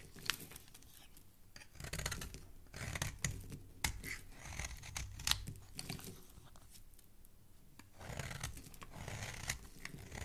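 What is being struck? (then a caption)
Soap bar scraped with a metal blade. A small, solid, cream-colored bar of soap held in one hand is repeatedly scraped with a metal blade, shaving off crumbly flakes. Quiet bursts of dry, bright scratching and crackling strokes come in uneven clusters with short pauses between them, over a soft low rumble.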